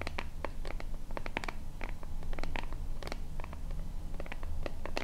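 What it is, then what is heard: Plastic pump bottle being scratched. Long fingernails scratch the label and sides of a small, hollow white plastic lotion bottle with a purple pump top. Quick, dry scratching bursts come in an irregular run over a steady low hum underneath.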